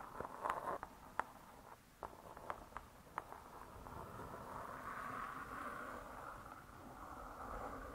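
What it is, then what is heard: Spiral-bound hardcover cookbook. Long nails tap on the cardboard cover of a spiral-bound hardcover cookbook, making sharp, dry, irregular clicks that fade quickly. After a few seconds the taps give way to a softer, steady midrange hiss that continues until the hands are lifted at the end.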